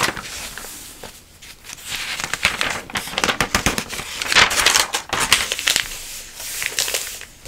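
A flat hand and long nails rub and scratch across the open pages of a thick glossy paper catalog, with some page flipping. Dry, bright crinkling and scratchy rustles rise and fall in waves, with sharp crackly flicks clustered in the middle as pages turn.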